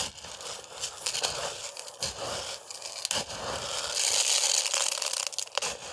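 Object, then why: Dry rice grains in a plastic container. Fingers with long nails dig into and rub dry rice in a clear plastic food container. The result is a continuous bright, gritty scraping and crackling rustle of grains, with almost no low end. It swells louder toward the final seconds.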